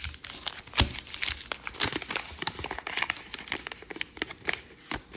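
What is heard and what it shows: A sheet of grey paisley origami paper is folded on a table while fingertips and nails rub and press its creases. Dense, bright paper crinkling and rustling is broken by sharp little crackles and taps, with one louder crunch near the start.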